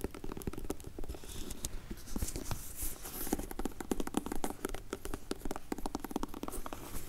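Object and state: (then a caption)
Faux leather glasses case. Long nails tap and scratch the textured surface of a closed, dark grey faux leather hard sunglasses case as it is rotated. The result is a dense, irregular stream of short, dry clicks and scratches that stop almost instantly. Soft low-frequency rumbling from handling sits underneath.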